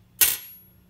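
A brass guitar nut is tapped or dropped once, giving a single bright, metallic click with a thin high ring that fades within about a quarter second. It sounds clearly different from a plastic nut.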